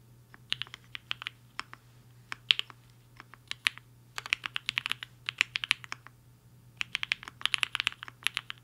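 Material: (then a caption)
Plastic. A compact mechanical keyboard with a black case and white and pink plastic keycaps, resting on a desk mat, is typed on quickly with the fingertips of both hands. Bursts of sharp, bright clicky keystrokes come in quick runs separated by short pauses, each click dying almost instantly, over a faint low hum.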